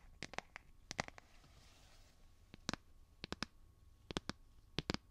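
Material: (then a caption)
Plastic. A light blue solid plastic phone case on a handheld smartphone is tapped and clicked with fingernails right next to the microphone. Sharp, dry, bright clicks come in quick little groups of two to four, each dying away instantly, with near-silence in between.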